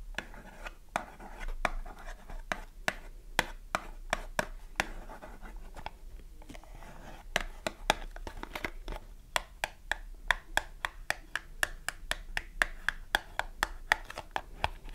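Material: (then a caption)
Cardboard. Long nails tap and scratch the front and sides of a small pink printed cardboard box, full of soap and held in the hands. A quick, uneven series of many sharp, dry clicks, each bright around 1.8 kHz and dying almost instantly, sits over a soft continuous scratching rustle.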